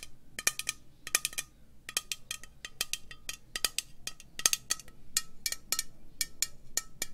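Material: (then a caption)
Metal. Long nails slowly tap a hollow green metal aerosol spray can with a white cap. The taps are short, bright, clicky strikes with a faint metallic tone near 1.2 kHz. Some come singly and some in quick clusters, and each dies away almost at once over a low background hum.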